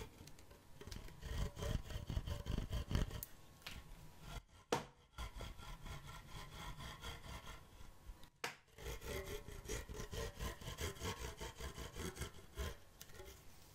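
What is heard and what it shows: Fingertips rub and strum across the tight synthetic string bed of a full-size badminton racket with a thin dark frame, held up close to the microphone. The result is a dry, scratchy, low-heavy rasping in quick, uneven strokes, broken by two brief pauses.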